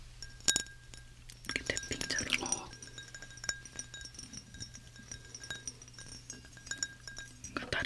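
Glass bottles are tapped with fingers and fingernails, giving bright, quick clinks with a high ringing tone that fades almost at once. Between the taps there are softer scratchy passages as a fingernail runs over a bottle, which changes the sound, and one bottle sounds duller than another.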